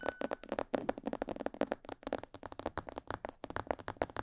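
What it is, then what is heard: Plastic mannequin head tapped with fingernails. Long purple fingernails rapidly tap the sides, ears and lower jaw of a hollow, life-size glossy black plastic mannequin head, about 28 quick taps in a little over four seconds. Each tap is a dry, hollow plastic click with a mid-pitched knock around 560 Hz and a bright edge, dying away almost instantly.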